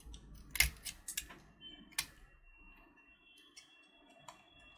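A small solid purple sugar-shelled chocolate button candy (Gems), held in the fingertips, is scraped with a metal utility knife blade, making six sharp, bright, crisp scratches and crackles. Flakes of the sugar shell come off, and the quieter passages carry faint high tonal lines over a soft low rumble.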